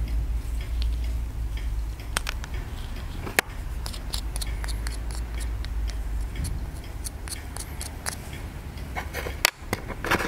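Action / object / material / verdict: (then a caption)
scrape / plaster block scraped with a pointed wooden stick / plaster / none. A pointed wooden stick scrapes and picks at a hand-held solid white plaster dig block, with an embedded toy dinosaur bone starting to show. Quick, dry, bright scratches and ticks sound over a steady low rumble, with two sharper clicks standing out near the middle and the end.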